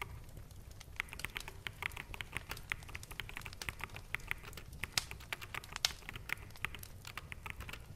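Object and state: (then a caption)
Plastic mechanical keyboard. Fingertips of both hands type on a full-size black mechanical keyboard with plastic keycaps. It produces a quick, irregular stream of short, bright, clacky keystrokes that stop dead with no ring. A faint low rumble sits underneath throughout.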